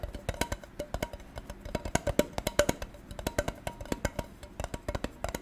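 A gold tin container is tapped in a quick, steady stream of short, bright metallic clicks. Each tap carries a faint ring near 590 Hz that dies away almost at once.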